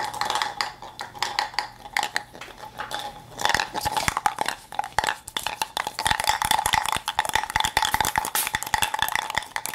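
A hollow plastic toy cup filled with small beads is shaken and tilted in one hand, so the beads rattle and pour around inside. It makes a dense, bright clatter of quick clicks with a faint ringing tone near 830 Hz. The sound eases to a softer patter around the second and third seconds, then builds to a steadier, louder rattle from about six seconds on.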